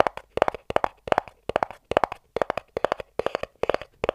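A small, empty-looking white cardboard inner box, open at the front, is tapped rapidly on its top with fingertips and nails. About 27 quick, dry, hollow taps fall in short bursts of roughly three, centered around a mid pitch with almost no ring or low end.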